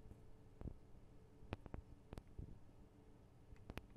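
Long acrylic nails tap on the microphone capsules and guards of a Tascam DR-40 recorder, small hollow metal and plastic housings. Sharp, dry clicks with almost no ring sound over a steady low hum, each tap giving a brief bright tick on a deeper thump.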